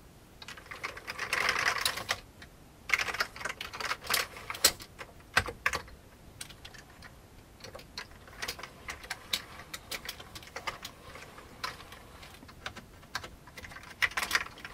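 Fingertips of both hands type, press and tap the keys of a full-size old beige plastic computer keyboard with mechanical-style keycaps and a hollow plastic case, resting on a desk. A dense run of rapid, bright clacks opens the clip, followed by scattered sharp taps and short bursts of keystrokes. Each click is crisp and dry, with almost no low end.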